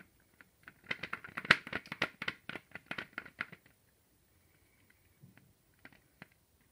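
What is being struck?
Chocolate egg shell.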